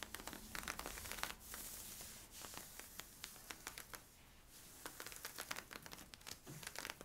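Fingertips and nails scratch worn, stretchy, thin soft camo-print polyester-spandex leggings at the front waist and hips. The result is quiet, bright, crackly scratching and rustling, with many sharp little ticks over a steady soft hiss.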